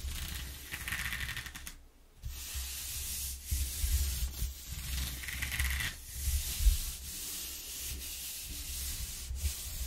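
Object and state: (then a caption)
Corrugated cardboard being rubbed. A flat hand and fingers rub across the exposed ridges of a flat corrugated cardboard sheet lying on a wooden table. The result is a steady, rough scratchy rasp with a bright hiss over a low rumble, dropping out briefly near the two-second mark before resuming in uneven strokes.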